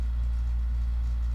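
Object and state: Nothing is struck.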